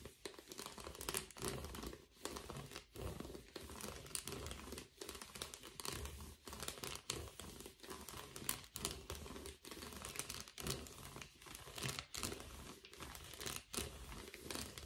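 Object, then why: Foil bubble padded envelope. Gloved fingers scratch and rub the bubbled face of an empty blue metallic foil bubble mailer held upright. The result is a dense, continuous crinkling and crackling with a bright, papery hiss and some low rumble, broken by short, regular pauses between strokes.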